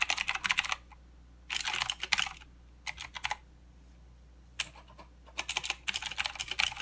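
Both hands type with their fingertips on a full-size mechanical keyboard with white, black and green plastic keycaps and blue clicky switches, resting on a desk mat. Bright, sharp clicks come in quick bursts separated by short pauses, each keystroke dying away almost instantly with very little low-end body.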